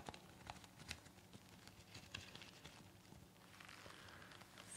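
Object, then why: Nonwoven fabric surgical mask. Long nails and fingertips of both hands scratch and tap a light green, pleated, disposable surgical mask of thin, soft, layered nonwoven fabric worn on the face. The sound is quiet: soft papery crinkling and brushing scratches, with a few sharper light taps near the start and around the two-second mark. Toward the end it turns into a brighter, steadier scratching hiss.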